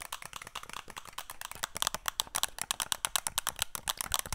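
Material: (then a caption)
Plastic. A flat, thin, rigid black and green plastic Wacom drawing tablet, held in both hands, is tapped and scratched with long nails. About 33 quick, dry, bright clicks and scrapes come in a fast run, each stopping almost at once with no ring and very little low end.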